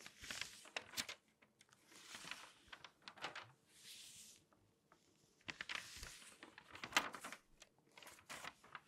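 Long painted nails scratch and rub across the pages of an open glossy paper magazine, and pages are turned. Quiet, bright crinkling and papery swishes come in soft bursts with sharp little ticks between them.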